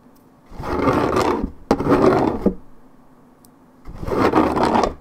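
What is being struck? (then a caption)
Paperboard juice carton. Long red nails scratch the coated cardboard top of a 1.75 L Minute Maid paperboard orange juice carton. Three separate rasping scrape passes are heard, each a dense, gritty rustle sitting mostly in the low-mid range, with brief sharp clicks between them and quiet pauses.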